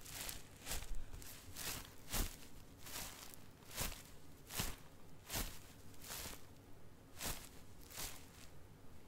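An unused, hollow Goodnites XL striped disposable pull-up diaper with a crinkly plastic outer layer is held in one hand above carpet and tapped from below with the palm and fingers of the other hand. Repeated short, bright plastic crinkles and soft taps sound at an irregular pace over a low, steady rumble. Each crinkle dies away almost at once.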